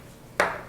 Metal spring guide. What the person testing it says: Pretty solid. This is very heavy spring guide. You can just hear how heavy this is.